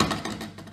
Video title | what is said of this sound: Stoffeigenschaften mit den Sinnesorganen bestimmen | blei hat einen sehr stumpfen ton wenn es nach unten fällt